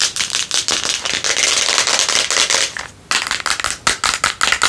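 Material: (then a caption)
Plastic. Long nails tap and scratch a hand-sized clear plastic supplement jar with a green screw lid, apparently full of red contents and held in both hands. Bright, dry scratching and rapid clicking fill the first three seconds, followed by a brief pause. Sharper, separate taps close the clip.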